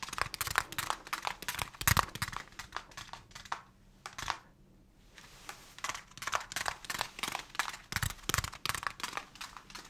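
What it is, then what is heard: Plastic plant pot. A small translucent plastic plant pot holding a young plant in soil is held in both hands and tapped and rubbed with the fingertips. Quick, dry, bright taps and soft scratchy rubbing come in dense clusters. They fade to near silence for about a second midway, then start again with the same busy rhythm.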